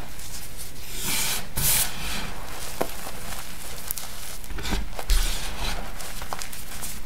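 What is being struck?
Crushed gym chalk powder.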